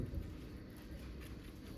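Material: Nothing is struck.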